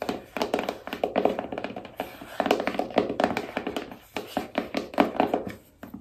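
Long nails tap all over the surfaces of a small, hollow black cardboard iPhone box, shown edge-on and from the back. The result is a rapid, irregular run of short, dry hollow taps with a mid-range body around 290 Hz and very little ring.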